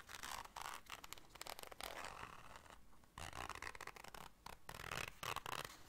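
Long nails scratch and scrape across a small, hollow black zipper case and its zipper. The result is quiet, dry, bright scratching in quick irregular bursts with brief pauses, and a faint hollow body beneath the rasp.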